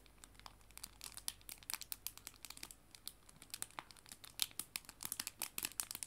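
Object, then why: Clear plastic cellophane bag holding paper prints. A small clear cellophane bag with paper art prints inside is held in both hands and crinkled by fingertips and nails. The result is a quiet, steady run of sharp, bright crackles and crinkles with almost no low end, each burst dying away instantly.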